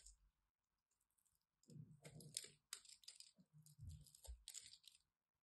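A solid purple and white striped bar soap has its edge carved with a craft knife into crumbly chunks. Quiet, irregular crisp scrapes and crunches carry bright, high clicking detail over soft low thuds as the pieces break away.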